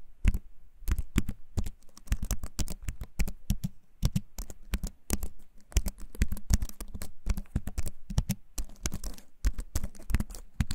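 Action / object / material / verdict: tap / keyboard with wooden frame and plastic keycaps / plastic / none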